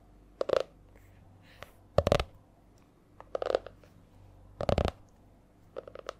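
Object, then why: Laminated hardcover spiral notebook. Long nails tap on the stiff laminated cover of a purple A4-size spiral notebook held in both hands. The sound is a series of short, dry, clicky taps in six quick clusters with uneven rhythm and quiet gaps between them. Each tap has a mid-pitched knock with a bright edge and almost no ring.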